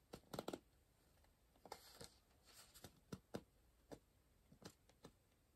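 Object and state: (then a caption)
Pencil writing on a paper puzzle book. A pencil makes quiet, short strokes and scratches on the page of an open softcover paper puzzle book resting on a pillow, always on the same spread. About thirteen dry, papery scrapes come in small clusters with pauses between, each stopping at once with no ring.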